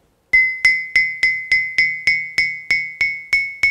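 A solid, gray-green, rod-shaped stone lithophone about 40–50 cm long, resting on a table, is tapped 12 times by a woman with a small stone held in her hand. Each tap gives a clear, bright, bell-like ring pitched near 2 kHz with a higher overtone, decaying in about a fifth of a second before the next tap.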